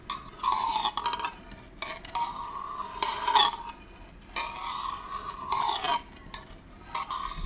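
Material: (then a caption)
Metal. Fingers twist and rub the lid of a small, round, hollow, empty gold metal candle tin on and off its rim. The result is bursts of bright metal-on-metal scraping with a ringing tone near 900 Hz, punctuated by light clicks.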